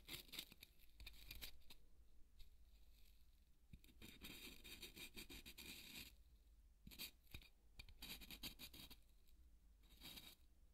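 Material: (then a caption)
Polystyrene foam. The tip of a marker pen is drawn across a large, white, solid polystyrene foam ball, making a line on it. Bright, dry scratching and squeaky rubbing come in irregular bursts, loudest in a long stretch mid-clip and broken by quieter pauses, over a faint low hum.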